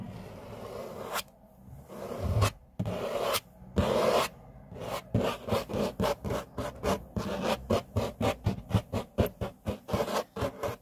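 Short nails scratch and fingertips tap a large, flat, solid grey laminate tabletop. Long rubbing scrapes give way to a quick run of short, dry taps and scratches about four per second, with a soft low body and little high sheen.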